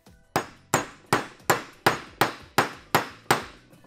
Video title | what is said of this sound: Tricks To Building Dirt Bike Wheels! | vous pouvez entendre que ça sonne un peu différent